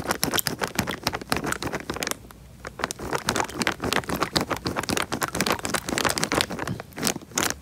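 A small clear plastic bag filled with water is squeezed and rubbed by fingers against the microphone, giving a dense run of bright crinkling, crackling and scraping taps. The water sloshes underneath, with a brief quieter pause just after two seconds before the rubbing picks up again.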